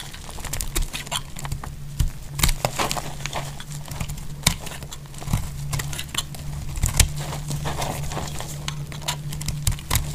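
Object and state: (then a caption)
Dry bar soap being shaved. A solid pink rectangular bar of dry soap, held in one hand with long glittery nails, is shaved and scraped with a metal utility knife blade, leaving a pile of shavings below. Quick, dry, crackling scrapes and sharp bright clicks repeat throughout over a low, steady hum.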